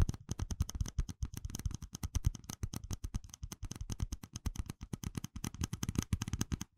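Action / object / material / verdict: tap / small ribbed plastic cup / plastic / none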